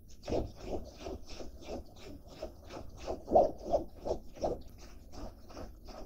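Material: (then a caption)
Denim. Fingertips and nails scratch and rub the fabric of a blue denim jacket with a zippered pocket, held up in the air. Rapid, fairly even scratchy strokes repeat about three times per second, each a dry, rasping burst with a midrange body and a thin high hiss. A few strokes in the middle land louder than the rest.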